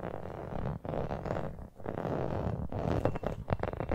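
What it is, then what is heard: Rubber toy football. Long painted nails tap and scratch the pebbled surface of a small, hollow-looking brown rubber toy football with white laces, held close to the mic. The result is a dense, continuous rasp of scratching with soft, dull taps, heavy in the low end with almost no bright top. A few brief pauses break it up before sharper taps near the end.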